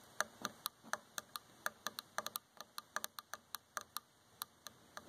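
Long fingernails tap and scratch the dark varnished solid wooden arm of a chair, making 24 short, dry, bright clicks at an uneven pace. Each tick stops almost instantly with no ring, over a faint background hiss.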